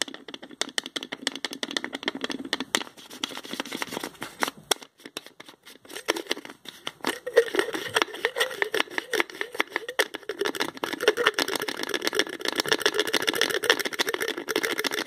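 A small spice jar's green plastic screw cap is twisted repeatedly with the fingertips, producing a dense run of quick, dry rattling clicks. The clicks are thin and bright with no low end, sparse at first, then growing steadier and louder through the second half.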